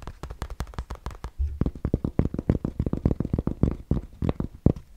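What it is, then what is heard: Fabric trucker cap scratched. Fingertips scratch the crown and patch of a grey Bass Pro Shops fabric trucker cap held in the hand. It makes a quick run of about 29 short, dry scratching strokes, dull and low with almost no brightness. Each stroke dies away instantly, with a brief steadier rub partway through.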